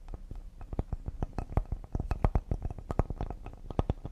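Fingertips and nails tap quickly on the face and thick edge of a solid cedar wood serving board. It's a fast, uneven run of short, dull knocks, mostly low and thumpy, with brief clicky tips and almost no ring after each tap.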